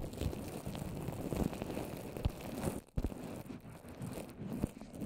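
Long orange nails and fingertips tap and scratch all over a small rounded microphone covered in wet white papier-mâché over plastic wrap. The result is a dense, low, crackling and sticky rustle with occasional sharper taps and a brief near-silence just before the three-second mark.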